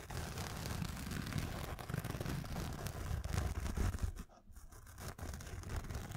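A black nylon fabric pencil case, held in the hands, is scratched with fingernails. The result is a steady, dense scratchy rustle with a low, muffled body, easing off briefly near the end before resuming.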